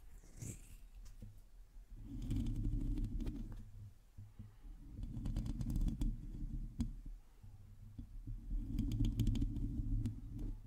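Long teal nails scratch a metal mesh microphone grille from the top and sides, making a dull, low rumbling scrape with faint crackly clicks. The scratching swells in three louder bursts, with quieter stretches between them.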